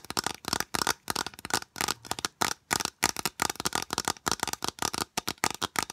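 Long nails rapidly tap and scratch a long, hollow, rigid white plastic U-channel piece held close to the microphone. The result is a quick run of short, dry, bright clicks and scrapes, mostly high-pitched, with no ring after each stroke.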